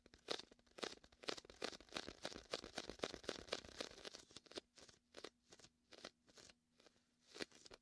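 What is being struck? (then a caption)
Inflatable vinyl beach ball. Fingertips rest on a large, hollow, air-filled red and white inflatable vinyl (PVC) beach ball, making sticky press, peel and scratch sounds. Quick, bright, crackly bursts come fast and irregularly for the first half, then thin out into quieter, separate sticky peels with short gaps between them.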